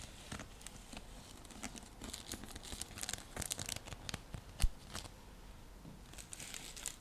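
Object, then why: Woven seagrass coaster. Long nails scratch along the coils of a round, flat, coiled woven seagrass coaster, a straw trivet, making a steady dry, crinkly rasp with bright crackling ticks. One sharper, louder snap stands out near the middle before the scratching settles back to a soft, even texture.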